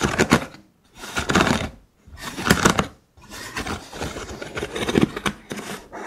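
Fingers scratch across the ribs of a hollow cylinder holder made of vertical thin wooden sticks, producing dry, rapid ticking rasps with a bright, broadband texture. Three short bursts separated by brief pauses give way to a longer, continuous stretch of scratching.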